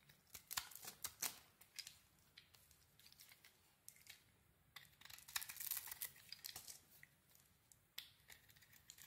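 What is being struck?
Bar of soap shaved with a metal blade.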